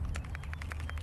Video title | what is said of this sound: DRONE BATTERY TEST,MODIFICATION,TIPS& APPLICATION TUTORIAL@SG 906 PRO BEAST (2020) | bila saya goncang ada dengar bunyi kan? Di dalam bateri ini adalah Li polymer